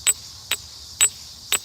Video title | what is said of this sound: Enormous Geodes Discovered Deep Underground | When you hit a geode that's quartz, you hear a very tinny sound.